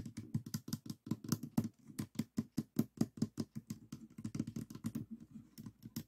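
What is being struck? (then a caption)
Plastic puzzle cube. Fingertips tap on the yellow top face of a small stickerless plastic 3x3 puzzle cube with a hollow mechanism, resting on a table. About 30 quick, dry, hollow taps come in a steady pattering run, each with a low-mid knock, a faint bright click, and almost no ring.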